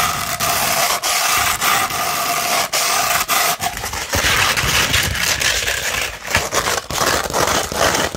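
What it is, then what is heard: Sandpaper sheet being scratched. Long red nails scratch the gritty side of a sandpaper sheet, first held partly curved and then laid flat. The result is a steady, bright, raspy scraping with brief breaks between strokes. Around the midpoint it turns rougher and fuller as the strokes speed up.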